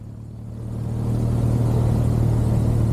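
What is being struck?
Nothing is struck.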